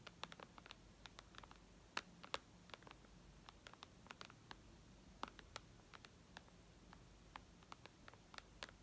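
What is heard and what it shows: Long red nails tap on the glass screen of a white iPad lying flat. About 34 quiet, sharp, bright clicks arrive in an irregular rhythm, each dying away instantly. Between the taps there is only a faint low background hiss.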